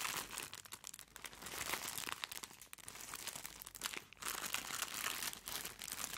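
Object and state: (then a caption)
Plastic-wrapped package. Gloved fingertips hold up and crinkle a medium-sized, white, plastic-wrapped soft package. A dense, bright, continuous crackle of plastic fills the clip, with a brief lull just after the four-second mark before the crinkling resumes.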